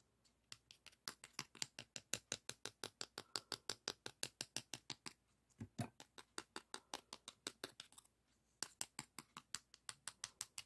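A flat, thin, solid beige emery board nail file is held in both hands while fingertips rub and scratch its surface. The result is a quick series of short, bright scratching strokes at a steady pace, with brief pauses near the six- and eight-second marks.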